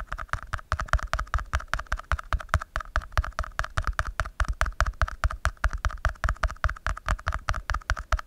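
Fingertips and nails tap and scratch the side of an empty, thin red plastic party cup held close up. The result is a rapid, uneven stream of short, dry taps with a deep, dull thump and a hollow midrange knock. Each tap dies away almost at once, with no ring.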